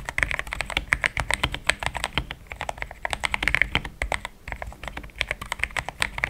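A compact pink-white mechanical keyboard with thick plastic XDA keycaps, a polycarbonate plate and linear switches, resting on a desk mat, is typed on quickly with the fingertips of both hands. Dense, rapid key presses make short, bright clicks and clacks with very little ring, riding over a soft low thump from each keystroke.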